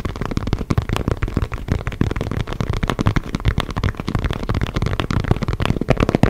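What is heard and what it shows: Fingertips tap and scratch the panels of a hollow, inflated synthetic leather soccer ball held in both hands. The result is a rapid, continuous run of dull, hollow thumps with very short decay, concentrated in the low end with little brightness, over a soft scratching texture.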